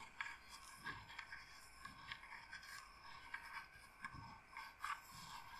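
Long nails slowly scratch and rub the carved surface of a hollow carved wooden incense box held in the hands. Soft, dry scraping comes in about ten short strokes, with a faint low thump beneath some of them and a brief high, bright edge on each.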